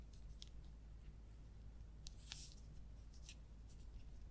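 A small, hollow orange plastic marker or highlighter with a white cap is held in both hands and tapped and scratched along its barrel with long acrylic nails. Soft, bright ticks and short scratchy sweeps stand out over a steady low hum, with the loudest cluster near the middle. The clip stays quiet throughout.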